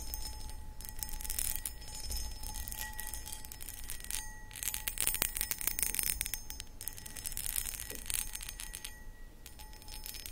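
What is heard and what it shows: Long acrylic nails tap and scratch on a medium-sized, empty, hollow, clear cut glass footed pedestal bowl. Dense bright clicks and raspy scratches come in bursts, with short, high glassy ticks that stop almost at once over a low background hum.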